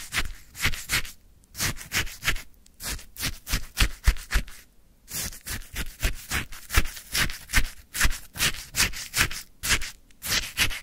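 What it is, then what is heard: Frozen lemon sherbet being scraped. A wooden stick scoops and stirs icy frozen lemon sherbet in a white paper cup full to the top. It makes a quick, steady run of crunchy, bright scraping strokes with short pauses between groups.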